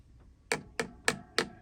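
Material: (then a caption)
Plastic. Four short, sharp knocks on a bicycle's chainstay protector fitted with small foam pads on top to damp chain slap. Each tap is bright and clicky, dying away almost at once with no ringing.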